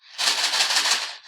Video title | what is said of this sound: Preparing Canadian Food: Kraft Dinner (Macaroni & Cheese) - Natural Approach English Beginner Lesson | If I shake it, there's a sound. It sounds like there are many little things inside the box.